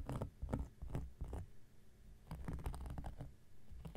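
An X-Acto knife blade scratches and scrapes across a round, flat, solid cork coaster. Short, dry, irregular strokes come in quick bursts, each a muffled rasp weighted toward low frequencies with a brief bright edge. There is almost no ring after each stroke.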